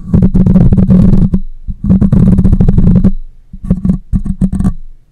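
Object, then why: Metal mesh microphone grille. Fingertips and long nails scratch and partly cup the hollow metal mesh grille of a black condenser microphone. The result is a close, muffled, bass-heavy rumble of rapid scratchy thumps in three bursts separated by short pauses, with the last burst breaking into choppier taps.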